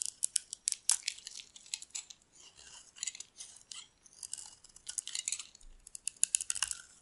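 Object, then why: Bar of soap. A metal utility blade scrapes and carves white curls off one face of a solid, palm-sized, dark green bar of dry soap held in one hand. Quick bursts of crisp, bright scraping and crackling come in clusters, with no low end. Each stroke cuts off sharply with almost no ring.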